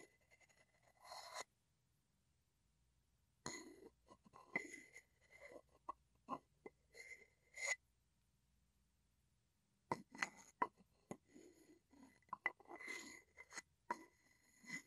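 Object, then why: Wooden mortar and wooden pestle. A wooden pestle is scraped and tapped along the outside of a hollow wooden mortar held sideways. Quiet bursts of dry scraping and short, sharp taps carry a hollow tone around 1 kHz with bright upper overtones. The bursts are separated by two stretches of near silence.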